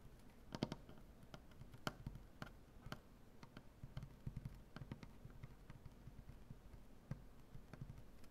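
Fingernails on both hands tap rapidly across a large solid maple butcher-block tabletop. The taps are quiet, dry and woody, mostly low thuds with brief sharp clicks that die away almost instantly. They form an uneven, continuous patter.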